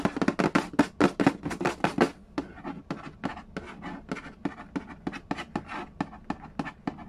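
Fingertips and nails trace, tap and scratch the lid of a hollow cardboard Yahtzee board game box. A quick, louder run of dry, papery taps fills the first two seconds, then softer, more spaced taps continue with faint scratching in between. Each hit is short and hollow with almost no ring.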